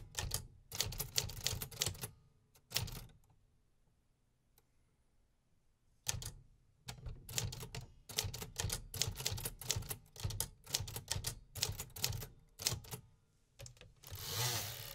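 Fingertips type on the keys of a beige 1950s vintage metal typewriter with paper loaded, producing rapid, sharp mechanical typebar clacks with a bright high snap and a low thud. The typing comes in quick bursts, with a nearly silent pause of about three seconds early on. The clip ends with a longer, broad rushing sound.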